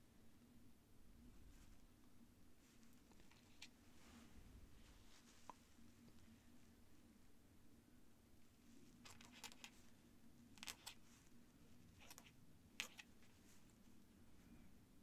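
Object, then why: Paper sheet scratched by a feather quill. The tip of a white feather quill scratches across a thin cream paper sheet on a desk while writing columns of figures. Soft, bright scratching strokes and a few sharp ticks come and go over a quiet, steady low hum.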